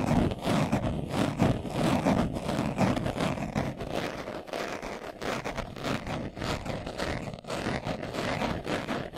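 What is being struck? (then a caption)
Leather-covered glasses case. A hand-sized, hollow, closed glasses case covered in brown leather is held in both hands while its surface is scratched fast with short nails and fingertips. The result is a dense, continuous run of rapid, rough scratching with a hollow low-mid body and little high sparkle. It is loudest over the first few seconds, then settles slightly softer but stays steady to the end.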